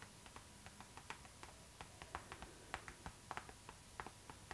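Long acrylic nails tap and scratch a hollow, transparent pink PVC zipper pouch tilted toward the camera. About a dozen quiet, crisp plastic clicks sound at irregular intervals over soft scratching, each dying away almost instantly.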